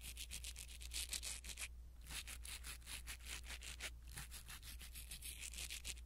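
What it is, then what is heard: Foam microphone windscreen being brushed. A blue silicone-bristle ear pick brushes a small black foam windscreen on a pin microphone. Quick, bright, soft scratchy strokes repeat steadily, broken by a brief pause near the two-second mark, over a constant low hum.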